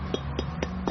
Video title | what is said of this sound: travelogue TRAVELOGUE 03/19/2013 MALAYSIA | when you tap on it it's got to have this empty feeling uh empty sound